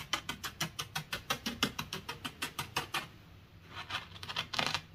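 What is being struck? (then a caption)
Beach gravel of small pebbles and shell fragments, poked with a wooden stick. A wooden honey dipper held by the fingertips is poked and scratched into a loose, solid, dry bed of small beach pebbles and shell grit. About two dozen quick, bright, crunchy ticks come in a steady patter for three seconds, then a brief quiet pause before denser, grittier scratching resumes.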